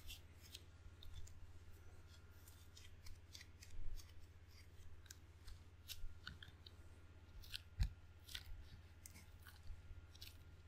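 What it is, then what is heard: Rubber-faced wooden ping pong paddle. Sticky fingertips and a palm tap and peel away from the red rubber face of a hand-sized table tennis paddle with a solid wooden blade. Quiet, crackling sticky snaps and bright clicks come in irregular bursts over a steady low hum.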